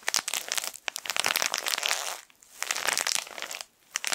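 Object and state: Plastic-wrapped tissue packet being crinkled.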